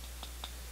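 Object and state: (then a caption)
Metal microphone arm, tapping carries through. Two light taps on a cheap metal microphone extension arm with springs and coils produce two faint, short metallic clicks with a bright ring around 3.6 kHz, over a steady low hum. Because the arm is metal, the taps and its movements carry through into the mics.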